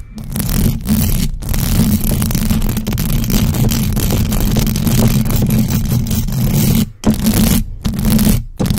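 Long acrylic nails on both hands scratch fast and hard across the hollow metal mesh grille of a large black USB microphone with no cover. The result is a dense, continuous, low-heavy scraping rumble with a steady hum-like tone around 220 Hz and very little high end. A few brief gaps break it near the end.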